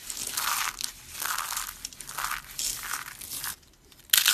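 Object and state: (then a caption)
Dry soap flakes being crushed. Hands with long red nails squeeze dry brown soap curls, crushing them into small translucent flakes, then rub the flakes. Bright, dry crunching and crinkling comes in several rolling bursts, then a brief near-silent pause before a final loud, sharp crunch.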